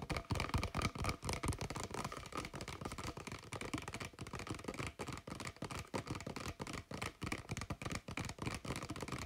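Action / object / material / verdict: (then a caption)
tap / thin plastic water bottle / plastic / none. Fingertips and nails rapidly tap and scratch along the body of a clear, thin plastic Kirkland water bottle with a blue cap, hollow and empty or nearly empty. The result is a dense, continuous stream of soft, hollow plastic thumps mixed with dry, crinkly scratching that has a bright edge, each tap fading almost instantly.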